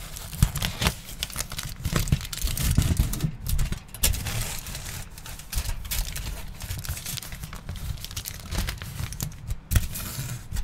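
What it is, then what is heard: Aluminium foil sheet. A large crumpled sheet of aluminium foil, held up in the hands, is crinkled and folded. It makes a dense, continuous crackling with frequent sharp crinkles and bright rustling over a steady low rumble, and louder snaps stand out now and then.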